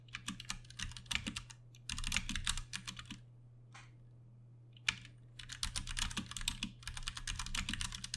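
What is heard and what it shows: A Ducky One 2 Mini compact 60% mechanical keyboard with plastic keycaps, Cherry MX Brown switches and RGB backlighting sits on a desk while both hands type on the keys with fingertips. Bursts of quick, bright clacking taps run fast and overlapping, broken by short pauses, with a steady low hum underneath.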